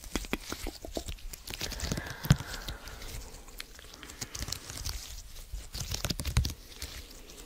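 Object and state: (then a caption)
Silicone mesh being scratched. A small purple silicone/rubber lattice mesh with a hollow open grid is held close to the mic while fingertips and nails scratch, squeeze and stretch it. The result is a dense run of short, dry crunching and crinkly scratching clicks. Most of the energy is low, with bright high-end crackle.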